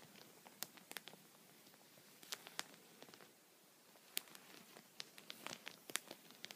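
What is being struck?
Thin plastic sheet protector on a towel.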